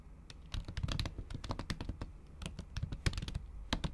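Long acrylic nail tips type on a MacBook Pro keyboard whose plastic keys sit under a thin pink patterned silicone cover. About twenty quick, irregular taps and clicks are heard, each muffled with a soft low thud and a brief bright tick, dying away almost instantly.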